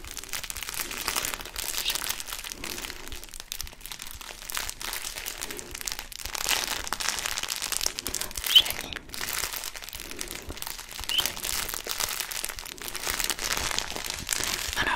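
A hand-sized blue plastic and foil cookie snack bag in Oreo-style packaging, apparently holding cookies, is crinkled and squeezed with fingertips close to the microphone. The result is a steady stream of bright, dense crinkling and crunching with little low end, broken by brief sharp crackles and short pauses.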